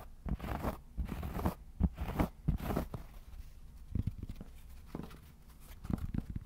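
Fingertips tap and scratch the face of a round, solid cork trivet about 1 cm thick, then move to its edge. The result is a quiet, dull mix of soft low thuds and papery scratching bursts that die away almost instantly, with little brightness.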